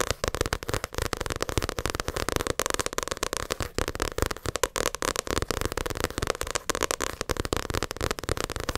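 Long acrylic nails tap and scratch rapidly on the glossy cover of a paperback Naruto manga volume held up in the air. A dense stream of dry, sharp clicks with very short decay mixes with scratchy rustling, steady and close throughout.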